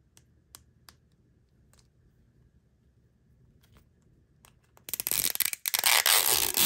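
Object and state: Plastic-wrapped toy capsule ball.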